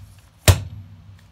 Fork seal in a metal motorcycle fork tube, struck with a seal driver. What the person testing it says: it sounds solid must be solid